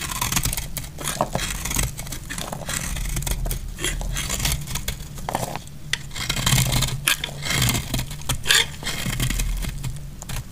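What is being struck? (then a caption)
Bar of laundry soap scraped with a blade. A utility knife blade scrapes and cuts flakes off the edge of a solid cream dry laundry soap bar held in the hand. Rapid, dry, scratchy strokes crackle brightly one after another, with a steady low rumble underneath. The soap sheds flakes with each pass.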